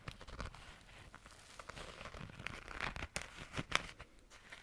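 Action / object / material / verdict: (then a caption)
scrape / glitter-coated fabric zipper pouch / glitter fabric / none. Long nails scratch and tap across a small, flat, pink glitter-coated fabric zipper pouch. The result is a quiet, dry, crinkly scratching with bright crackles and sharper, brief taps scattered throughout.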